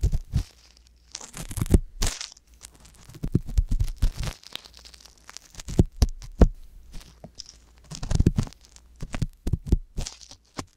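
The metal tip of a wooden ear pick scrapes inside the ear canal of a soft silicone ear mounted on a white box binaural microphone. Close, dry scraping and crinkling come in short bursts, each with a deep muffled thump and a faint bright hiss. Brief quiet gaps fall between the bursts.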